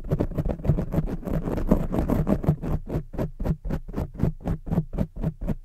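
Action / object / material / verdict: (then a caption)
scrape / foam microphone windscreen / foam / none. Long jeweled fake nails and fingertips scratch and rub a rounded black foam microphone windscreen from both sides. The result is a dense, muffled, low-heavy scratching that thins into distinct, rhythmic strokes of about four per second, each a soft, brief scrape with a faint bright tick.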